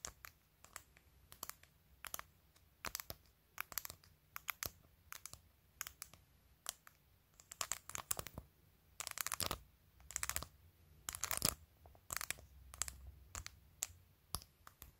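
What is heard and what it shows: Long pointed acrylic nails tap and click on a handheld phone in a clear plastic case covered with glued acrylic press-on nails, striking both the nails and the case edge. The sound is quiet, bright, sharp clicking in irregular bursts, with occasional brief scratchy runs and a low background hum.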